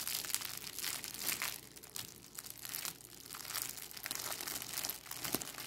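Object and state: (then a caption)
Crinkled plastic bag. A thin, clear plastic cellophane bag is scrunched and crinkled by fingers with long acrylic nails. It makes a steady, dense crackle of sharp, bright rustles with almost no low end, swelling and easing in waves. The crinkling runs on throughout with no pause.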